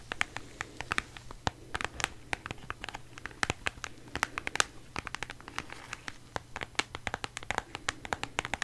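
A flat rectangular cardboard eyeshadow palette box with a white marble print, held close, is tapped and scratched with long manicured nails. Dense, sharp clicks and dry scratches come with bright, crisp transients that die off almost instantly over a faint low hum.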